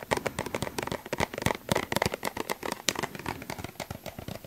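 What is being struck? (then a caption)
Plastic suncream tube. A small, hollow yellow plastic suncream tube is held in both hands and tapped with the fingertips and nails close to the microphone. Quick, dry, hollow taps come in a dense, uneven stream with very short ring, giving a light crackling, plasticky clatter.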